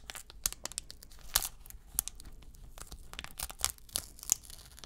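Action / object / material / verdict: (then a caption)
scrape / metallized plastic foil card pack wrapper / metallized plastic / none. The sealed metallized plastic foil wrapper of a 2022 Select UFC trading card pack is held in both hands while fingertips crinkle it and tear open the top seam. Bright, sharp crinkling and tearing bursts stand out over a soft rustle, with almost no ring after each one.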